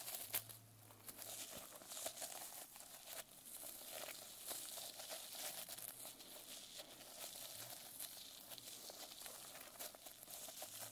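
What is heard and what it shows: Long nails scratch across the plastic sequin cover of a closed notebook, flipping the sequins over. A steady, bright crinkling and clicking rustle runs throughout at a soft level, with faint sharp ticks scattered through it.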